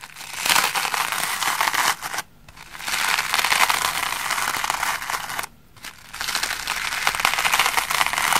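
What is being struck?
Cellulose sponge brushed with bristles.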